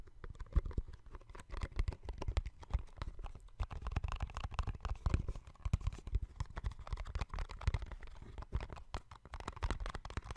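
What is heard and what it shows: A small, hollow, yellow-and-white printed cardboard box is held in both hands close to the microphone and tapped and scratched with fingertips and nails. It gives a dense run of quick, dry, hollow taps with soft scratchy rustling between them. The sound is low and thumpy with almost no ringing.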